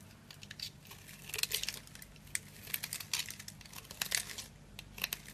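A small metal blade scrapes and carves a solid, hand-sized bar of dry green soap held in one hand, shaving off crumbly cubes that fall onto the table. The sound is a quiet run of crisp, bright crunches and crackles, with a faint steady low hum underneath.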